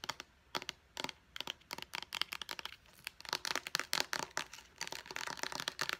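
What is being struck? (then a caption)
Plastic pump bottle. Long painted nails quickly tap and click on a small, hollow white plastic face wash pump bottle with a purple pump top. The sharp, dry clicks are bright and crinkly with almost no low end and no ring. They start in scattered bursts and grow into a denser, faster patter after the halfway point.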